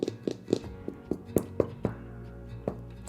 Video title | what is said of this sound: I Baked the Same Sourdough 4 Ways – Here’s What Changed | I think it sounds hollow. So, I think the sound is good.